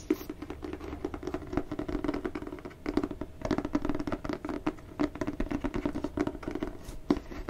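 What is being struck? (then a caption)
Cloth-bound hardcover book. Fingertips and nails scratch and tap the textured cover of a solid red cloth-bound hardcover book with gold foil lettering, held in the hands. A dense, quiet patter of dry, muffled scratches and soft taps carries a low, warm tone with almost no brightness, and each touch dies away at once.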